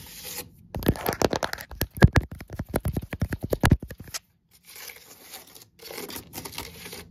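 Long acrylic nails scratch and tap fast along the braided inside wall of an open woven natural-fibre basket (seagrass or water hyacinth) that holds a toilet paper roll. A run of about 26 quick, sharp, crackling taps comes first, followed after a brief silence by quieter, softer scratching.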